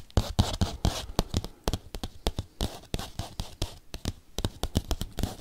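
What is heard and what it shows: A padded bubble mailer envelope is tapped and scratched quickly with paperclips. Sharp, dry taps with a dull low thump come in a fast, uneven rhythm, mixed with short bright crinkly scratching bursts. Each sound dies away almost at once.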